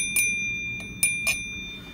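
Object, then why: Antique flint glass piece. A heavier antique flint glass piece is pinged and rings with a sustained, bell-like tone near 2.4 kHz with higher overtones. Light taps renew the ring over a low background hum. This clear ring is one way to identify flint glass.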